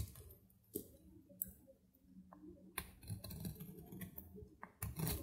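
A metal knife shaves and cuts brittle curls off a solid, dry bar of soap held in the hand. Sharp, dry crackling clicks and crisp snaps ring out with bright edges over soft scraping and a low background rumble. Each click dies away almost instantly.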